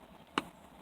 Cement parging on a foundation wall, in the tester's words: here it's nice and hard, the sound